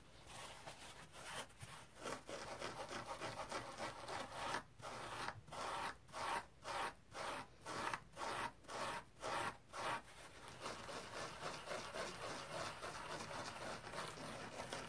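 Fingertips and nails scratch and rub a dry, hand-sized, rectangular green polyurethane foam kitchen sponge resting on a towel. A steady, bright, papery rubbing gives way to a run of separate, rhythmic scratching strokes in the middle, then returns to continuous rubbing.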